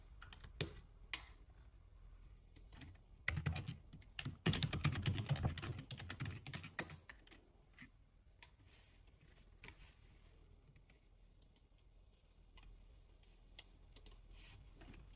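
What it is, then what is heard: Plastic computer keyboard being typed on. Fingertips type across the plastic keys of a full-size black plastic computer keyboard on a desk, the hands moving left and right. Quiet, scattered key clicks build into a dense, louder burst of rapid typing in the middle, then thin out to sparse, soft taps over a low background hum.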